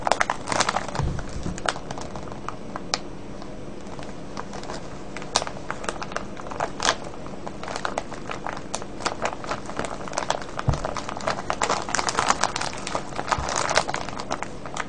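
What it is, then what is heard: Cellophane bag of wrapped candies being crinkled. Fingertips pinch and crinkle the plastic near the label of a full, clear cellophane bag of wrapped candies. Dense, sharp crackles and crinkles sound almost continuously for about 15 seconds, with bright, brief snaps over a steady low background.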